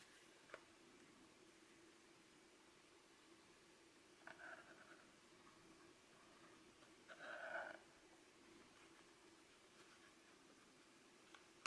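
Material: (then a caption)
Plastic. Fingertips tap and trace along the plastic shell and buttons of a small, hollow, clamshell Nintendo Mario Bros Game & Watch handheld held in both hands, and the device is folded. Faint, brief ticks and soft scratchy rubbing sit over a low steady hum, with the loudest bright, papery scraping burst near the middle-end and a sharp little click at the close.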